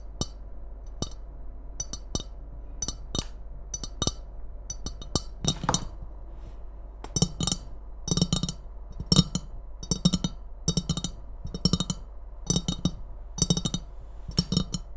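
A hollow, empty white ceramic Christmas mug with a red angel print and wavy red rim is tapped and scratched with long red nails. Sharp, bright clicks and clinks come in quick clusters with very short ring, along with a soft low resonance and light scratching between taps.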